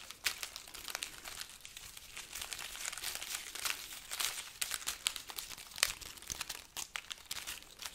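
A hanging bunch of dried red chili peppers on a string, with a price tag attached, is held up in front of a microphone and rubbed, squeezed and lightly shaken with the fingertips. The dry, hollow pods give a steady stream of bright, papery crinkling and crackling, with sharp clicks spread throughout and almost no low end.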